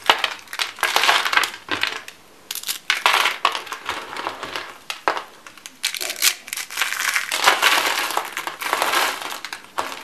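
Light blue dry soap, shaved into thin, solid, brittle rolled curls, is crushed and crumbled into flakes between fingertips and palms with dark-painted nails on a white wooden table. Dense, dry, crackling crunches come in bursts with brief quiet gaps, bright and papery with almost no low end.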